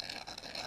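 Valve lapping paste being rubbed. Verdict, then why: Gritty. Valve lapping paste, a gritty abrasive compound, is rubbed and scraped, giving a continuous bright, crunchy scratching with no low end. The grainy crackle shows the paste is coarse and abrasive, like gritty toothpaste; what it contains is not known.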